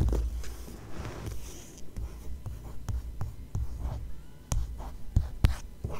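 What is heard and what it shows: A long fingernail traces and lightly scratches across the printed glossy page of an open paper magazine. Soft, dry scraping and rustling are broken by a series of sharp, short nail ticks that die away almost at once, over a low, dull undertone.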